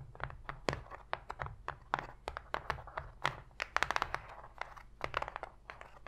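Long pointed pink fingernails tap and scratch rapidly on the bottom of an empty, open white cardboard box tray. The hollow cardboard answers with a quick series of dry, sharp taps and brief scratchy crinkles that die away almost at once, with a light low thump under a bright, papery top.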